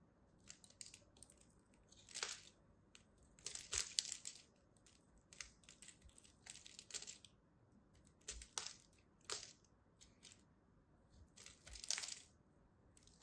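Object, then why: Bar of soap cut with a small blade. A small metal blade cuts and peels curls and chips off the edge of a solid purple and white striped soap bar. Bright, crisp scraping crunches come in short bursts over a quiet background.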